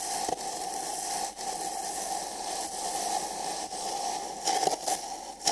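Fingertips and nails scratch and rub inside the opening of an empty printed paper cup held sideways over the microphone. The result is a steady, dry, crackly scraping with a hollow ring around 750 Hz and a bright hiss on top, and a few louder rubbing bursts near the end.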